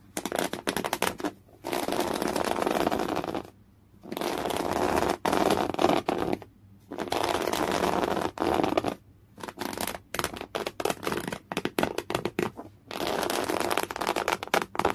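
Fingernails of one hand claw and scratch hard at folded, thick beige woven cotton canvas. The result is dense, coarse bursts of scratching, strongest in the low-mid range, broken by brief pauses. Some passages are sustained rasps, while others are rapid separate scrapes.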